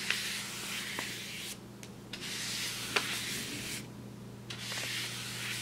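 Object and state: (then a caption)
Brown kraft paper bag being brushed. A wide paintbrush brushes across the surface of a large, flat brown kraft paper bag lying on a table. Bright, hissing, scratchy strokes come in three sustained passes separated by short quieter gaps, with a few small taps and a faint steady low hum underneath.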